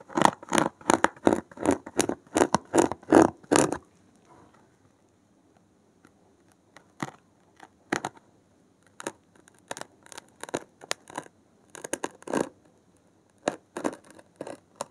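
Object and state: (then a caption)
Foam block scratched with a needle. A blue-gloved hand scratches and pins a thin metal needle along the top edge of a thick, solid, porous block of dark grey foam. A quick, steady run of short, crisp, bright scratches lasts about four seconds, then comes a near-silent pause with faint low rustle. Sparser, irregular scratches follow through to the end.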